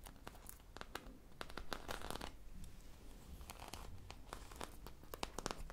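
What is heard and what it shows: A sprinkle-covered foam popsicle squishy toy with a stick, held in one hand, is scratched with the long nails of the other hand. Many quick, dry scratches and crinkly rasps come in an irregular stream over a low background rumble. Each one cuts off almost at once.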